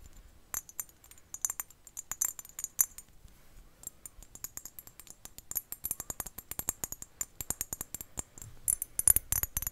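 A small, glossy, dark-blue hollow ceramic ocarina is held in one hand close to the microphone and tapped and scratched with long painted nails. The result is dozens of quick, dry, bright clicks that die away almost instantly, with a denser, louder flurry of scratchy taps near the end.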